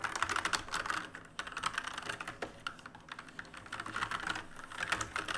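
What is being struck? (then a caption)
Plastic and metal mechanical keyboard. Fingertips of both hands type fast on a full-size black plastic and metal mechanical keyboard with plastic keycaps and RGB backlight, resting on a wooden desk. A rapid, continuous stream of sharp, bright clicks and clacks fills the clip, each keystroke dying away almost instantly, with a few louder bursts near the start and end.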